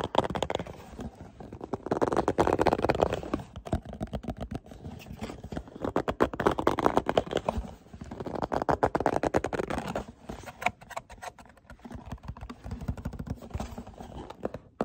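A small, hollow printed cardboard product box, showing two bottles on the front, is held in the hands while fingertips tap and scratch its surface. Rapid, dry tapping mixes with rustling scratches in a muffled, hollow midrange tone with little brightness. The activity swells into denser, louder bursts around 2–3, 6–7 and 8–10 seconds before settling into quieter, sparser taps.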